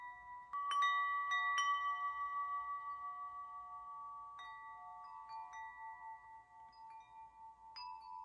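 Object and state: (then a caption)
Metal tube wind chime. Fingertips flick and knock the hanging hollow metal tubes of a metal tube wind chime, sounding clear, bell-like ringing tones. The struck tones overlap and sustain for several seconds, with a strong ring near 2 kHz and brighter high partials. New strikes keep adding fresh notes as the earlier ones slowly fade.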